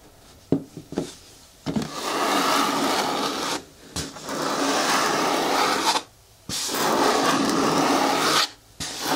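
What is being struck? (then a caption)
Hard plastic bin with lid. Long nails tap and then scratch and rub along the side wall of a hollow, hard green plastic bin with a lid and a black handle. A few quick, sharp taps open the clip, followed by long stretches of dense, bright scraping that stop and start again after short silences.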